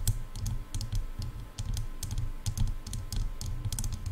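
Long nails tap and scratch the shells of hollow silver plastic headphone ear cups, making a rapid run of sharp, bright clicks over a dull, low thudding body. The taps come in quick irregular clusters with short scratchy textures between them.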